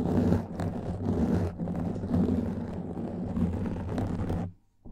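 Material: Foam.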